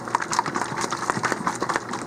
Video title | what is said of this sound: FloraNova Nute Mixer | Hear that clinking in there? That's that agitator.